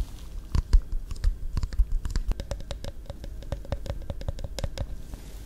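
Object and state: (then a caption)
Plastic iced coffee bottle tapped with nails. Long nails tap rapidly on the blue cap, label and bottom of a small Caffè Latte plastic iced coffee bottle, likely full, held close to the mic. The light, dry clicks come in quick irregular runs over a soft low rumble, and the later taps carry a faint hollow ring.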